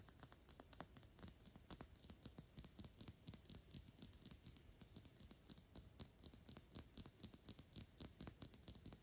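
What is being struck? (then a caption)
Thick glass perfume bottle. Long pink nails fast-tap the sides and edges of a Gucci perfume bottle made of thick dark glass, hollow and filled with liquid. The result is a rapid, steady run of sharp, bright clicks with a faint high glassy ping and almost no ring after each tap.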